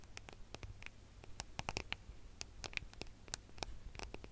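A gold smartphone with a metal and glass body is held flat in both hands above the microphone while fingertips and nails tap and scratch its back. Quick, dry, bright clicks and scratchy ticks come in an irregular patter, each dying away almost instantly over a soft low rumble.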